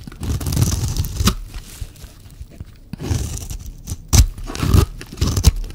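A hand-held, solid, dry green bar soap is scraped and shaved into thin curls with a metal utility-knife blade. Bursts of low, crunchy scraping alternate with quiet gaps, and sharp peaks near the end mark harder cuts.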